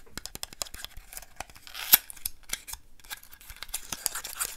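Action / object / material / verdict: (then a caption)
tap / small paperboard box / cardboard / none. Long manicured nails tap and scratch the sides and edges of a small, hollow, white printed paperboard box held in both hands. Quick, dry, bright clicks and rasping scratches follow one another in an uneven stream, with one sharper, louder tap partway through.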